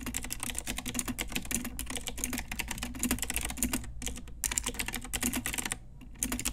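A full-size pink Ajazz mechanical keyboard with round plastic typewriter-style keycaps on a hollow plastic case is typed on with long nails and fingertips. The result is a rapid, continuous stream of bright, clicky plastic taps over a low hum. There are brief pauses just before 4 seconds and around 6 seconds.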